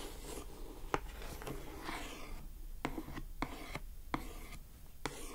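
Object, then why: Coated cardboard gift box. Long acrylic nails scratch across the lid and edges of a closed lilac glossy-coated cardboard gift box, making a soft rasping rub. Sharp, short taps on the lid cut through the scratching at intervals.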